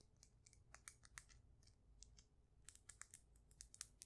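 Long nails tap the flat faces of a solid, faceted polished stone polyhedron held close to the microphone. The result is a quick, uneven series of sharp, bright clicks that die away almost instantly, heard over a faint low rumble.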